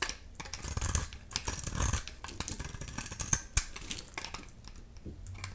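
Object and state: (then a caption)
Dry bar soap being shaved. A dry, solid amber-yellow soap bar with leftover pink paint, held in the hand, is shaved into curls with a utility knife blade. The result is a run of crisp, dry scraping and cutting strokes with bright, gritty detail over a soft low rumble, and a few sharper snaps standing out.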